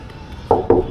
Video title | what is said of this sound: KAŽU TULUM PROPADA 🇲🇽 ZASTO TURISTI NE DOLAZE VIŠE? | Plastika. Ko kad kucneš po lajtu onome.